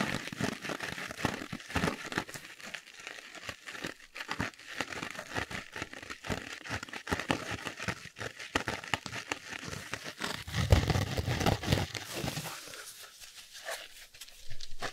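A small yellow polyurethane foam kitchen sponge with a green abrasive scouring layer is held in both hands close to the microphone while fingertips squeeze and scratch it. The result is a dense, continuous stream of crinkly, crackling foam sounds, with a fuller, louder stretch of squeezing near the end.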